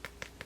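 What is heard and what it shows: A solid, thick vinyl doll, a 36 cm Paola Reina-style doll, is tapped three times, giving short, dry knocks with a bright click and almost no ring. The doll is judged good quality and durable, not cheap.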